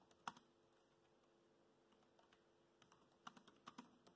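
Fingertips tap the black plastic keys of a laptop keyboard, making about a dozen quiet, short clicks with almost no ring. A couple of taps come near the start, then a long pause, then a faster run of taps toward the end.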